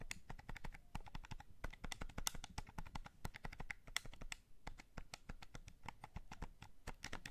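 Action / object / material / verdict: tap / hand-held plastic game controller / plastic / none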